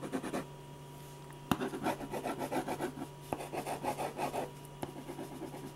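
A silver ballpoint pen scratches quick back-and-forth hatching strokes across a large white paper sheet on a drawing board, shading a portrait's neck and face. The strokes come as dense rhythmic bursts of raspy, rubbing scratches, with three sharp ticks standing out between pauses.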